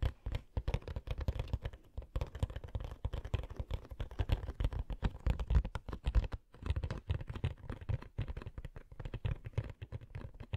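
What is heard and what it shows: Long nails tap rapidly on the printed cardboard back of a hollow Coca-Cola Funko Pop box. The result is a dense run of dull, low, thumpy taps with almost no high end and no ring, briefly pausing around 2 and 6.5 seconds.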